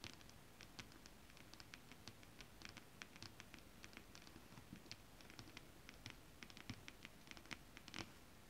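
Long acrylic nails scratch and tap, fingers curled, across a flat holographic mermaid scale-print fabric. Quick, crisp clicks with bright, sharp tips and almost no ring are scattered over a soft, low rustling bed. The sound stays quiet and steady throughout, with a few louder taps near the end.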